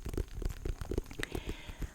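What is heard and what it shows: A white and orange striped pumpkin is tapped repeatedly, giving a steady run of soft, dull, low thuds. Each tap dies away almost at once, leaving no ring.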